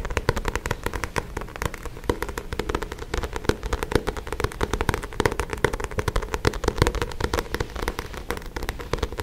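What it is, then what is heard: Paperback book cover. Fingertips and nails tap and scratch the card back cover of a paperback book held in both hands. A dense, fast run of short, dry taps mixed with scratchy rustling continues steadily for the whole clip, with a weighty low body and a faint hollow mid-range tone under the clicks.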